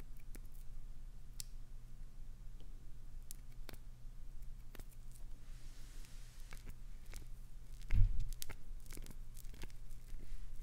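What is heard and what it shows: Long acrylic nails scratch and gouge a solid, translucent green glycerin soap bar, making quiet, crumbly scraping with sharp, brief crackles and clicks over a low, steady hum. A louder gouge near the eight-second mark stands out, and the scraping stays slightly fuller toward the end.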